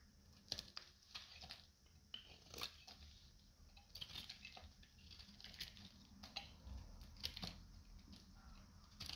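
A solid, hand-sized peach soap bar with a red coating, dried and held in the hand, is shaved with a metal utility knife. Each stroke makes a short, bright, crunchy scrape and crackle as flakes come off, repeating in an uneven rhythm over a quiet low rumble.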